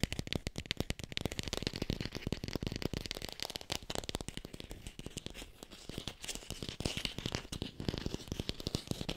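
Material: Plastic.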